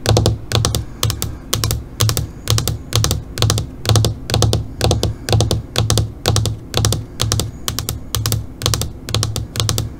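Long pointed fingernails tap rapidly on the surface of a flat black LCD computer monitor screen. The sharp, bright clicks come in quick clusters about twice a second over a low, hollow thump. The taps continue at a steady rhythm throughout.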